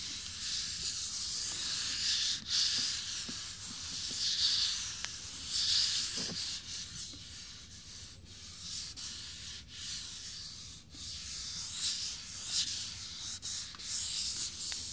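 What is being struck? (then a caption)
Fiberglass dummy head. Fingertips with short nails rub and stroke the sides and cheeks of a life-size hollow fiberglass binaural dummy head microphone. The result is a steady, bright, hissy scratching and rubbing that sits almost entirely in the high frequencies, with a few brief dips between strokes.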